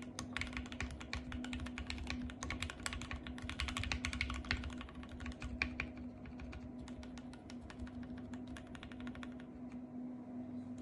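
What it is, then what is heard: Plastic mechanical keyboard. Fingertips with long painted nails type and tap on a compact RGB-backlit mechanical keyboard with white plastic keycaps. Rapid, bright plastic clicks and clacks run throughout, busiest in the first half and then settling into a steadier pace. A constant low hum sits underneath the keystrokes.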